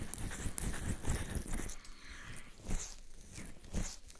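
Both open hands cup and rub the two soft silicone ear shells of a black 3Dio binaural microphone on a stand, recording through the microphone itself, with palms and fingertips working in an ear massage. The sound is close, muffled rubbing, heavy in the low end, with deep thumps as the palms press over the ears and bright, crinkly brushing strokes in between. It is a continuous, uneven texture of swells and soft bumps with no clear silence.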